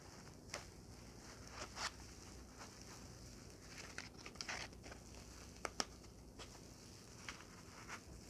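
A small, soft white foam packing block is held in both hands while long painted fingernails and fingertips squeeze, rub and tap it. Ten short, quiet, bright scratchy taps and crinkles stand out over a low, steady hiss.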